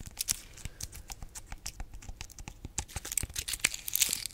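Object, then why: Whole pineapple rind. Long nails scratch and tap the rough, scaly rind of a large, solid whole pineapple held in both hands, including its base. The result is a quick run of dry, bright, crackly taps and scrapes with no ring, growing busier and louder toward the end.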